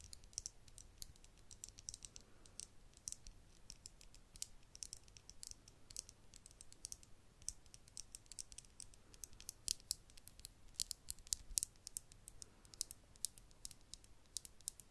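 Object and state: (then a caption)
Small glass vial with cork stopper. Long acrylic nails tap and scratch a tiny, empty-looking hollow glass vial with a cork stopper held in the fingers. Rapid, very short, bright clicks sound over a faint low hiss, with no ring after each tap.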